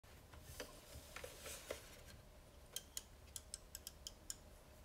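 Fingertips turn a vintage black rotary desk phone's metal and plastic dial against its finger stop; the phone has a Bakelite/plastic body with a hollow housing and sits on a wooden table. About ten short, bright ratcheting clicks sound from the mechanism, loose at first and then in a quicker run. Each click dies away almost at once over a quiet low background.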